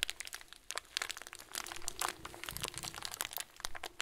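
A hand squeezes and grips a clear, hand-sized plastic bag full of small white plastic pearls. The result is a dense run of quick, bright crinkles and crunches with sharp crackling snaps and a faint steady tone underneath.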